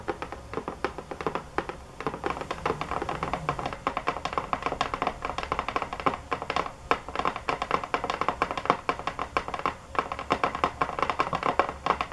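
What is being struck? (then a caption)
Box. Fingernails tap hard and fast on a box, giving a dense run of short, dry clicks with mid-range brightness and almost no ring after each hit. The taps come in rapid bursts throughout with only brief pauses.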